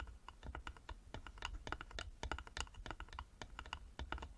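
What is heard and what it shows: Fingertips and short nails of both hands tap fast on the front and sides of a small, closed, hollow carved wooden jewelry box with a metal medallion and clasp, lying flat on a table. The result is a rapid, uneven run of short, dry knocks with a hollow low body and a bright clicky edge, each dying away almost instantly.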